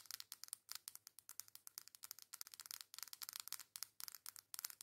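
Long acrylic nails tap and scratch the front and back of a hand-sized, flat coral cardboard face palette. The result is a quiet, rapid run of crisp, bright clicks and dry scratches with almost no low end and no lingering ring.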